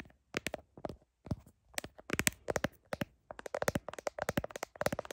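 Long nails tap quickly on the back of a smartphone in a blue heart-shaped plastic case, recorded by the phone's own microphone. About two dozen short, dry, bright clicks come in rapid bursts separated by brief pauses, each dying away almost instantly.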